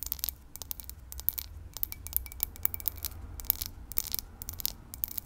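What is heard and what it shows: Long pink nails tap and scratch the textured side and base of a small, hollow, empty cut crystal whiskey tumbler held in the hand. A rapid, irregular string of crisp, bright clicks and short scrapes plays over a faint low rumble, each tap dying away almost at once with no lingering ring.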